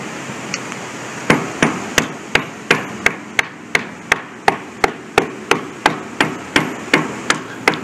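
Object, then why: Concrete bridge deck. A worker kneeling on a large, solid concrete bridge deck with a spalled patch taps the surface repeatedly with a small hammer, sounding the concrete for delaminations. About twenty sharp, bright strikes land at a steady rate of roughly three per second after a couple of faint early taps. Each has a brief, high-pitched ring that dies away almost immediately.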